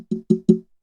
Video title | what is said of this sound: TPP Ep. 32 - Podcast Equipment Bundles | some space in there. There's a lot of room for activities in there.